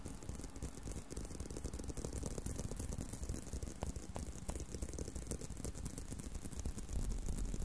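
Fingernails scratch and tap on a brown leather belt strap bent in an arc. A steady run of soft, quick, dull taps and rustling scratches sits mostly in the low end, with a few sharper clicks.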